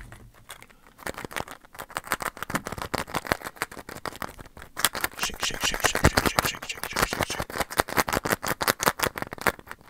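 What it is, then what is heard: Plastic Easter egg. A small blue and red hollow plastic Easter egg is held between the fingers and tapped and scratched with the fingertips close to the microphone. A rapid, uneven series of short, dry plastic clicks and taps is heard, mixed with brief scratching, and each sound stops almost instantly.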